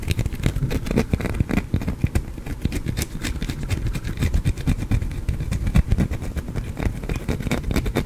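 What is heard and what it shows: A small, solid green soap bar is held in the hand and scratched with fingernails close to the microphone. The result is a dense, continuous run of rough scratching strokes with a heavy low rumble and faint bright crackly edges.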